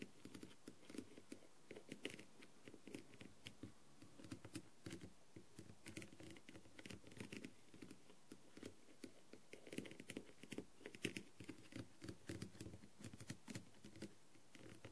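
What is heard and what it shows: A green light-up pen-like tool with a clear pointed tip taps and scratches across the blue and gold plastic rhinestones on a thin, hollow blue half-face masquerade mask lying on a dark tray. The result is a steady run of quiet, dry clicks and scratchy patters with a low hollow body and brief bright ticks that die away almost instantly.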